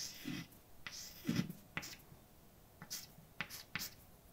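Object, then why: Chalk stick on a painted blackboard. A hand writes words with a white chalk stick on a large, flat, dark painted blackboard. Scratchy strokes with a bright edge mix with low, dull taps, about seven short accents in all, each dying away almost at once against a quiet background.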